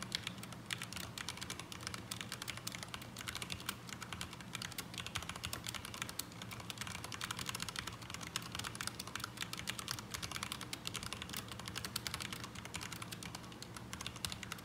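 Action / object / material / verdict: tap / mechanical keyboard with ABS plastic keycaps / ABS plastic / none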